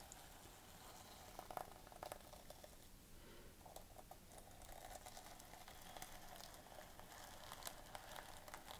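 Long painted fingernails scratch and rub a flat fabric clutch pouch covered in gold plastic sequins as it lies on a table, while metal bangles on the other wrist are held still. The result is a quiet, steady crackling, fizzing scratch with a mid-pitched ring, broken by occasional brief, brighter clicking ticks.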